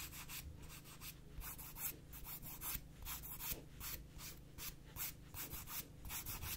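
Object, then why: Emery board nail file. Long nails are drawn back and forth across the abrasive surface of a gritty black emery board nail file in a filing motion. It makes a run of quick, slightly uneven rasping strokes, each a bright, hissy scrape over a faint low hum.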